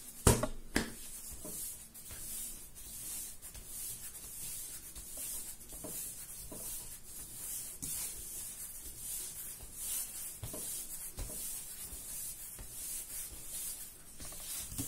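Bare hands fold and squeeze a large, soft, solid yellow ball of raisin bread dough on a floured marble-pattern counter while kneading. Soft rubbing and squishing sounds repeat steadily over a constant faint high hiss, and a few sharper taps stand out near the start.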